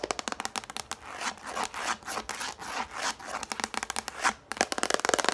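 A yellow hollow plastic plate is held upright while long nails tap and scratch its underside. Quick, sharp, dry taps open the clip, give way to bursts of rough scratching in the middle, and return as fast, brighter tapping at the end.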